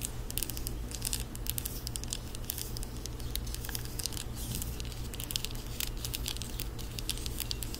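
Long acrylic nails tap rapidly on a small white plastic skincare jar with a lid, held close to the microphone. The result is a quick, continuous patter of light, crisp clicks over a steady low hum.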